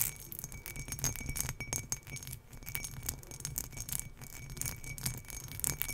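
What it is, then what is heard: Embossed glass tumbler. Long nails scratch across the textured sides of an empty turquoise embossed glass tumbler held up in the air. The result is a dense, continuous run of quick, bright scratchy clicks and rasps with a faint steady ringing tone. A soft low rumble sits underneath throughout.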